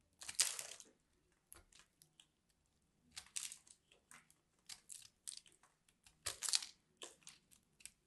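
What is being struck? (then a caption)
Ball of pressed grated soap cut with a metal blade. A solid orange and cream ball of grated soap, held in the hand, is carved with a metal blade tool, and crumbly pieces break off. Quiet, bright, crisp crunching and scraping bursts come in an irregular series with short pauses between them.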